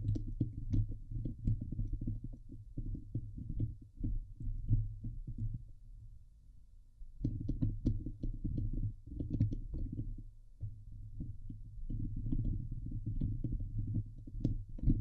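Long nails on both hands scratch the hollow steel wire-mesh dome grille of a Blue Yeti microphone, producing a dense, rumbling, boomy scraping that is almost entirely low in pitch with a few faint bright ticks. The scratching eases into a quieter, softer stretch around the middle, then resumes at full intensity and continues steadily to the end.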